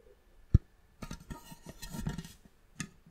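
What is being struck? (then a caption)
Wooden box. Long manicured nails and fingertips tap the top and sides of a closed, hollow, polished reddish wooden box with a brass clasp. One sharp knock stands out, followed by a longer run of soft, quick clicky taps and scratchy nail sounds, then another crisp knock. The hits are dull and low with almost no ring.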